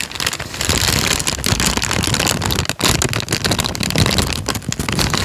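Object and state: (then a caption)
Crinkled paper sheet. A thin sheet of tan manila paper, held in both hands in front of the microphone, is folded and crinkled with the fingertips. It makes a steady, dense crackling and rustling with a bright, hissy top and a soft low rumble, pausing briefly near the middle before continuing.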